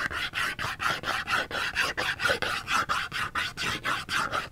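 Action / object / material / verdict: scrape / small cardboard soap box / cardboard / none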